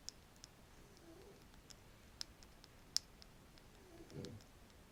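A wooden stick is scratched and tapped close to the microphone, giving sparse, sharp, bright clicks and ticks over a quiet background. Softer, lower scraping swells come through around the one-second mark and again near the end.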